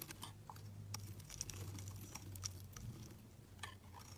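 A hand-held, cream-colored solid soap bar is sliced into thin shavings with a metal box-cutter blade. Quiet, crisp scraping and crunching ticks with a bright, high edge come one after another over a steady low hum.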